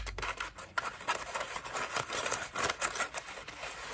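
A cream foam bath loofah with a rope loop is squeezed in both hands and scratched with long nails. It makes a dry, crackling, scratchy rustle in a series of short bursts, bright and midrange with almost no low end.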